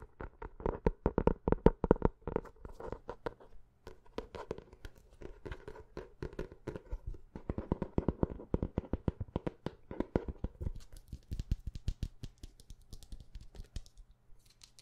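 Long nails and fingertips tap fast on the cover of a dark hardcover notebook held upright and solid. The result is a rapid, uneven stream of dry, short clicks and knocks with a hollow midrange body, broken by brief pauses. The taps turn thinner and brighter toward the end.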